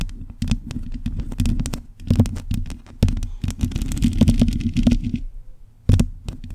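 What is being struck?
Metal mesh microphone grille.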